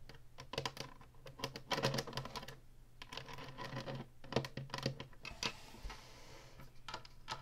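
Long nails tap and scratch the ridged top and button panel of a hollow plastic Atari retro game console while hands hold its sides. Rapid, dry clicking taps mix with bright scratchy swishes over a steady low hum.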